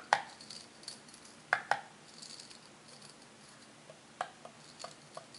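Long red-painted nails scratch and flick the brass wire bristles of a small handheld brush set in a light wooden block, held close. Sharp, bright, quickly fading snaps stand out at irregular intervals against faint scratchy rustling and brief quiet pauses.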